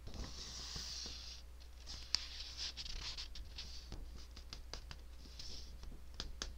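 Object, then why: Paper sheet. Long nails scratch and tap the surface of a single white hole-punched sheet of paper held up by one hand close to the microphone. Bright, hissy scratching sweeps along with scattered sharp ticks, including one louder tap, over a steady low hum.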